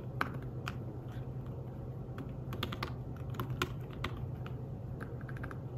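Fingertips of one hand type rapidly on the keys of a thin, flat, grey fabric-covered folio keyboard for a tablet. Soft, muted, clicky taps come in quick, uneven bursts over a steady low hum, each tap short and dying away almost at once.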